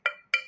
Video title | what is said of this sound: Perspective Doesn't Equal Truth | this is a plastic cup you can hear the plastic